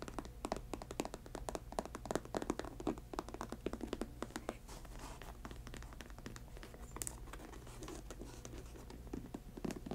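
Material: Patent leather.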